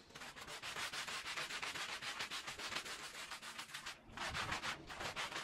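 A small oval red patterned fringed woven fabric rug lies wet and foamy on the floor while a green plastic-bristle push broom scrubs it. Rapid, rhythmic back-and-forth strokes make a bright, hissing rubbing sound, with a brief dip in the scrubbing just after the four-second mark.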